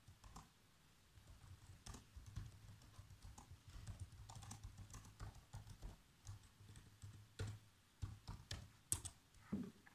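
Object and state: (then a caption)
Plastic laptop keyboard. Bare fingertips with short nails type continuously on a black plastic laptop keyboard. Quick, dry key taps with short, clicky attacks come in irregular bursts, louder toward the end, over a steady low hum.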